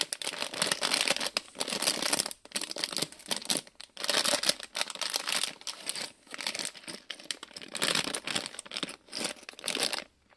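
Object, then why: Thin plastic film bag with small plastic bricks inside. A small printed plastic-film Lego Disney polybag with bricks inside is held in both hands while the fingers crinkle and stretch the film. Dense, bright crackling comes in bursts separated by brief quiet gaps, with almost no low end. The crinkling stops and falls silent just before the end.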